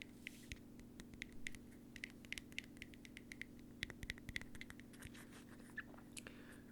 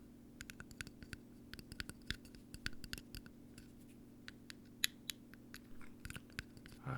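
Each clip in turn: First: plastic bottle cap. Second: metal bottle cap.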